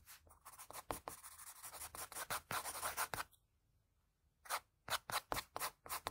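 A pencil held at a low angle rubs broad shading strokes over a sheet of drawing paper, making quick, dry, scratchy swishes with a bright papery hiss. The strokes run in a steady rhythm, pause for about a second of near silence, then resume in sharper, more separated back-and-forth passes.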